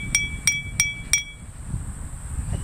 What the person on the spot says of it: if I have a metal spoon it's going to give a very harsh metallic sound